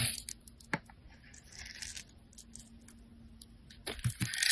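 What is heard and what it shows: Metal utility blades scrape and carve textured lines and crumbs into a handheld, solid coral-pink bar of soap. Soft, bright, crackly scraping runs throughout over a faint steady low hum, with a sharp click early on. Louder, crisper scrapes build toward the end.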